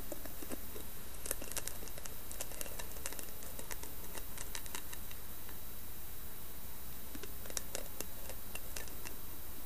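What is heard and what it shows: Long nails tap and scratch across the carved lid of a round, hollow wooden box with a lid and a brass knob. Sharp, bright clicks and light scraping patter irregularly over a steady low hum, with the taps bunched in quick clusters throughout.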